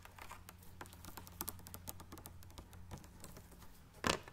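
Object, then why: Partly filled plastic water bottle. A large clear plastic water bottle, partly full of water, is held and tapped with long dark nails, giving quiet, rapid clicks and light scratches over a low steady hum. Toward the end the bottle is tilted and a single louder, broad crackling burst stands out.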